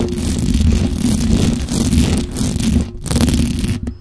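Long acrylic nails scratch and tap the hollow metal mesh grille of a black microphone. The result is a dense, continuous rasping scrape with heavy low rumble and a faint steady hum, broken by brief dips where the contact pauses.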